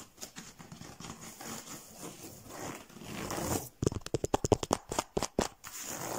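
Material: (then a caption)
Rush. Fingertips and short nails scratch across a chair seat woven from twisted rush or paper cord in a diamond pattern, stretched flat, firm and taut over an open frame. Nearly four seconds of soft, dry, rustling scratching build up, then give way to a quick run of sharp, short taps on the strands before a light scratch resumes.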